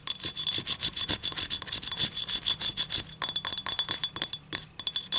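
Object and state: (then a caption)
Ceramic cup scratched along its ribs. Long nails scratch and rub along the ribs of a small, hollow, yellow ribbed ceramic cup tilted in the hand. A rapid string of short, bright, raspy strokes follows, with a faint high ringing tone underneath and a brief pause near the three-second mark.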